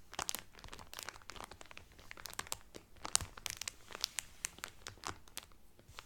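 Both hands lightly rub and scratch the cellophane film wrapped around a folded cotton Carnival Cruise towel with fingertips and nails. The result is a steady stream of bright, dry crinkling and crackling with many quick sharp snaps, mostly high in tone with little low end.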